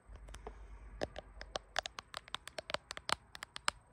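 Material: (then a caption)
Glass. Long fingernails rapidly tap and scratch the glass back of a bare blue iPhone with no case, held in both hands while the phone records itself in a mirror. About 20 sharp, bright clicks stop instantly with no ring, over a soft scratchy rustle and a faint steady high whine.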